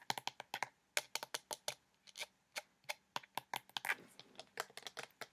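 Fingernails tap quickly on the white cap and body of a pink plastic lotion bottle partly filled with liquid. Around 25 sharp, bright clicks come in fast, uneven bursts, each dying away almost at once, with a faint low hollow tone beneath some taps.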